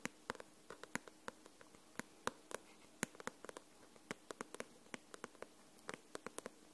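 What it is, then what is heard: Paperback book tapped with nails. Long nails tap the glossy paper cover of a paperback book held upright, making 29 short, sharp ticks spread unevenly across the clip. Each tap is a crisp, bright click that dies away almost instantly, with little low end, over a faint hiss.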